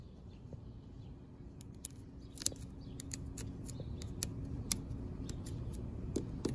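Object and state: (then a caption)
Coated expanded-metal picnic bench. Long pink decorated acrylic nails tap and scratch the ridges of a black coated expanded-metal mesh seat on a picnic bench. About fourteen sharp, bright clicks land at an uneven pace over a steady low rumble. Each one dies away almost instantly.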